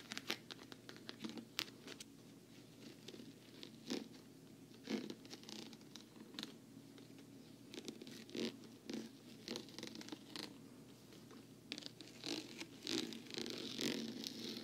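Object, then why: Patent vinyl travel case. Long nails scratch and tap across the smooth top and front of a hollow black glossy patent vinyl travel case. The result is a quiet run of dry, bright scratching and clicky taps, each dying almost at once.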